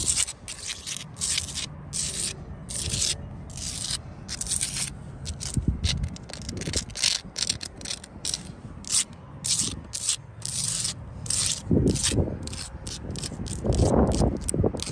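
Long blue acrylic nails scratch and tap the faces of a solid wall of rough brown-tan sandstone blocks set in grey mortar. Quick, irregular bursts of bright, gritty scraping come with short, dull taps that have low thuds beneath them. The strokes grow louder and fuller near the end.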